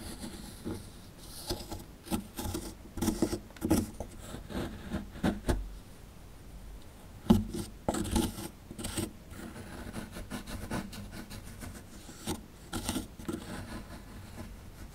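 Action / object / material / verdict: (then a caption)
scrape / plaster excavation block scraped with a plastic chisel / plaster / none. A small dark plastic chisel scrapes and digs at a small, solid, chalky plaster (gypsum) fossil-excavation block with a dinosaur skeleton relief, held in one hand. Dry, gritty rasping strokes come in short, uneven bursts with a few sharper scratches and knocks. Bits of plaster are steadily worn away.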